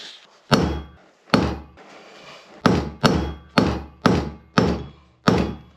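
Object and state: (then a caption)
Bearing fully seated (bottomed out). Eight separate hammer blows drive a heated metal bearing into place on a Datsun 240Z, each a short, dull, low thunk that fades quickly. The change in sound when it reaches its stop shows the bearing is fully seated and bottomed out, as expected.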